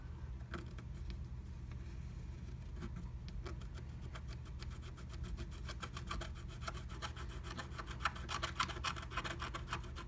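A wooden stylus scratches the coating of a flat, black-coated scratch art sheet beneath a blue plastic stencil, tracing a heart shape. Short, dry, bright scratching strokes repeat at an uneven pace over a steady low rumble, growing denser and slightly louder toward the end.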